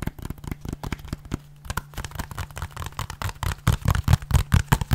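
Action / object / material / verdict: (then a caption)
tap / small plastic game case / plastic / none. Fingernails tap and scratch the edge and front of a small, hollow white plastic 3DS game case. Quick, irregular dry clicks and brief scraping strokes sit over a faint steady low hum. The taps grow louder and heavier in the last second or so.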